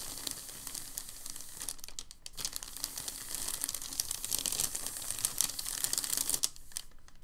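A thin, crinkled packing paper sheet on a table is folded by hand, then pressed and smoothed with fingertips. A steady, bright crinkling and crackling fills the clip, with a brief lull just after two seconds and softer rustling near the end.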